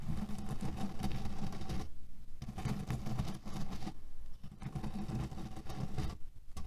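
Fingernails slowly scratch at the edges of a cotton canvas pillow filled with cherry pits. The result is a dense, low, grainy crunching and rustling of shifting pits, broken by a few brief quieter pauses.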